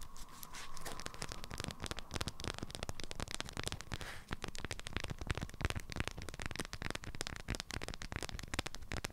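Long nails tap and scratch on an item wrapped in an orange-print, beeswax-coated fabric food wrap, the waxed fabric stiff under the fingers. A dense, rapid run of dry, crackly taps and papery scratching carries on throughout, with low thuddy body under the brighter crinkle.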